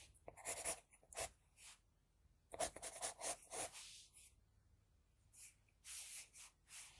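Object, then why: Graphite pencil on drawing paper sheet. An HB pencil scratches across a flat sheet of drawing paper while drawing hair strands. Quick, bright, scratchy strokes come in short bursts with brief quiet pauses between them, and there is almost no low-end rumble.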